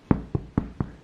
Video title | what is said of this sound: Making bread for the SECOND time in my life!!! Fool Proof recipe on baking bread at home | Knock on it, on the back. If it's hollow, it's ready.